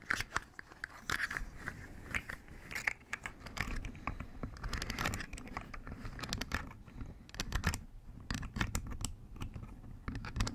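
Long pink acrylic nails tap and scratch the ridged segments of a hollow, hand-length rainbow plastic articulated slug fidget toy held close to a fuzzy microphone, also flexing its joints. Dense, rapid clicky and crinkly plastic sounds are heard, with short bright ticks over a low, muffled rumble that may come from brushing against the windscreen.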